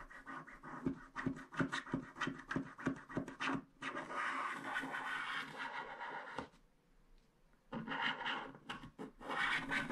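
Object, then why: Wax-coated paper scratch art card scraped with a wooden stick. A wooden stick scratches the black wax coating off the pink strip of a small, flat paper scratch art card. Quick, dry scratching strokes come in a rapid rhythm, then blend into a steadier rubbing scrape. After a short near-silent pause, a final run of bright scratches follows.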